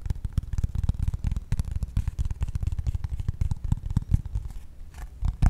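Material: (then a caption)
Cardboard. Pink-painted fingernails tap and scratch a flat brown corrugated cardboard piece held above the mic. The result is a fast, irregular run of dull, low, papery thumps mixed with faint scratchy rustling. Each tap dies away almost instantly.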